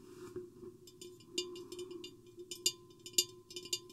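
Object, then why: Mirrored glass vase. Long painted fingernails tap both sides of a medium-sized, hollow, empty, silver-mirrored glass vase with a square hourglass profile, with the microphone lowered inside. The taps come as an irregular series of short, bright clicks that die away almost at once, over a steady low hum and a faint tone near 1 kHz. A green bottle sits nearby but is not touched.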